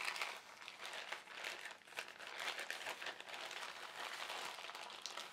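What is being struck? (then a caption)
Thin polyethylene carrier bag. An empty white printed polyethylene shopping bag, folded into a small strip, is squeezed, folded and crinkled by both hands with fingertips and short nails. The result is a steady, quiet stream of bright, crisp crinkling and crackling with no low end, swelling and easing slightly as the plastic is worked.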